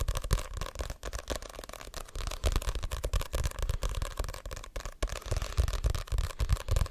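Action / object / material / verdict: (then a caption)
tap / paperback book with glossy card cover / paper, card / none. Fingertips and short nails tap and scratch the glossy card cover of a Diary of a Wimpy Kid paperback, a solid paper book held up close to the microphone. The sound is a fast, irregular stream of dry, crackly taps and scratches with a heavy low thump, each hit dying away almost instantly.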